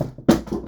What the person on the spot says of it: J'ai fait tomber mon crâne. J'ai un crâne en plastique et je le fais tomber par terre.